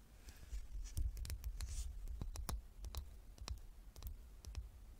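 A small, solid, dark-stained wooden king chess piece, held in both hands above an open chess box, is tapped and scratched with long nails. Quick, dry clicks with a bright edge land at an irregular pace, mixed with soft, faint scratching over a low background rumble.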